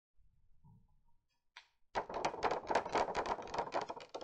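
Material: Cardboard.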